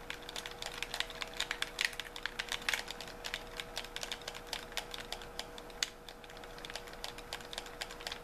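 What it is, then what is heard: Plastic game controller buttons. Thumbs and fingertips repeatedly tap the buttons and triggers of a white handheld plastic gamepad with a hollow shell. The result is a rapid, uneven stream of short, bright plastic clicks, with a faint steady hum underneath.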